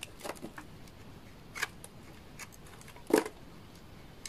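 A utility knife blade scrapes curled shavings off a solid bar of dry orange laundry soap. Short, quiet, dry scraping strokes come in uneven bursts with a crisp, bright edge. The loudest, fullest scrape lands just after three seconds, then quieter scratches trail off.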